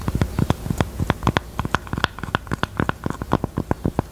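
Long teal nails tap and scratch the top of a small, hollow, hot-pink velvet heart-shaped jewelry box near a small metal button. A rapid, uneven run of short, dry taps with a muffled low body and a faint mid-range click stands out over a soft, scratchy patter.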